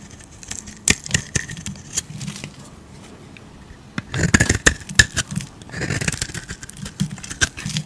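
A hand-sized solid bar of soap, cream-coloured inside with a pink outer layer, is held in a hand with long teal-painted nails and scraped and shaved with a metal utility razor blade, peeling off curls of soap. Dry, crisp scraping strokes and sharp little clicks come in irregular bursts, with a quieter pause in the middle before a denser run of bright shaving sounds.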